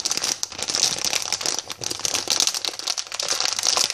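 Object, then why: Plastic sweet packet filled with sweets. A yellow, hand-sized, flexible Bassetts Jelly Babies plastic packet filled with sweets is held in both hands and crinkled and tapped with long painted fingernails and fingertips. The result is a dense, continuous plastic crinkling with quick crackly taps, bright and high with almost no low end.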